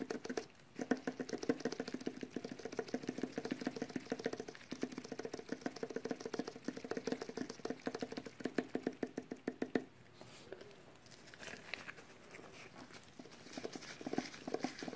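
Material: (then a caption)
Metal. Latex-gloved fingertips tap and scratch the metal lid and rim of a small cylindrical metal tin with a blue-and-white paper label, held in both hands. For about ten seconds, rapid, irregular, dry taps ring briefly with a hollow mid-pitched tone. The tapping then gives way to quieter, softer scratching and occasional light taps.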